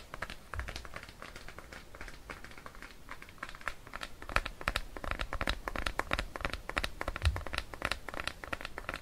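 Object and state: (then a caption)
Plastic cream jar. Fingertips and nails tap and scratch the blue plastic lid and side wall of a Cetaphil plastic cream tub held in bare hands near a mannequin's ear. The result is a rapid, irregular stream of short, dry plastic clicks and scratchy crackles with bright edges, plus a few soft low thumps.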